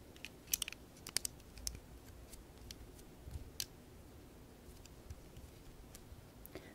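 Long painted nails tap and scratch at a small, hollow, round orange and tan plant pot made of ABS plastic Lego bricks with a textured top, held in both hands. The result is quiet, sharp, bright plastic clicks at an uneven pace over a soft, steady hiss.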